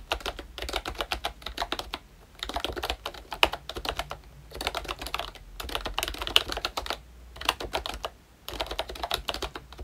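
Both hands type with their fingertips on a pink plastic ROYCHE Disney Mickey Mouse retro membrane keyboard with round black keycaps. Quick, bright, dry clicks come in bursts of typing separated by short pauses.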